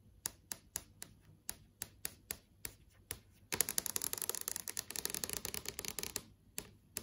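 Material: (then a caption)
Plastic film. Long acrylic nails tap and trace across the surface of a large, solid, flat LCD TV screen with a plastic-film panel, showing app tiles. Sharp, bright, dry clicks sound first as spaced single taps, then as a dense flurry of rapid tapping and scratchy tracing, before easing back into a few separate taps.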